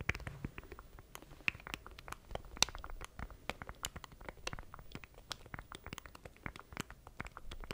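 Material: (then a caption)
Plastic. Fingertips tap and scratch the rubber button keys and casing of a small, solid, black plastic stream deck controller held in both hands close to the mic. The result is a quiet, steady patter of sharp, bright clicks and dry scratches, each dying away instantly with no ring.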